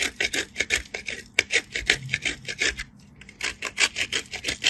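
A solid white piece of soap, held between the fingertips, is scraped against a perforated steel grater in continuous grating. Quick, dry rasping strokes follow one another at an uneven pace, with a brief pause just before the three-second mark. The sound is bright and scratchy, centred around 2 kHz, with almost no low end.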